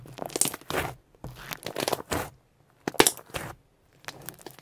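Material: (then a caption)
Slime. A solid mass of soft purple pearl shimmer slime is squeezed between both palms, then poked and stretched with fingertips on a white surface, trapping air pockets. Bursts of wet, crackling and crinkling squelches come in quick clusters separated by short silences, with sharp bright pops as the trapped air breaks.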